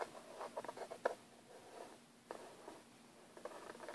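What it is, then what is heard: Plastic case scratched and tapped. Fingertips and nails scratch and tap across the lid of a closed, hollow, black textured hard plastic airbrush case. Soft, dry, papery scratches are broken by brief sharp taps, with a quiet midrange tone around 500 Hz. Each tap dies away almost instantly between bursts of scratching.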